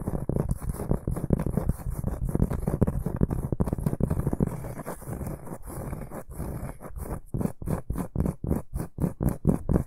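A large, solid, round, flat cork board is held in both hands and scratched with the short fingernails and fingertips of both hands. Dense, muffled, low scratching runs steadily at first, then breaks into distinct, rhythmic rasping strokes toward the end.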